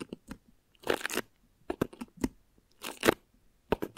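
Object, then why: Thin plastic wrap stretched over a microphone. Long nails and fingertips scratch thin plastic wrap stretched over a microphone head. Quick, dry crinkling scratches and taps alternate with two longer bursts of bright, crackling rustle, separated by short silences.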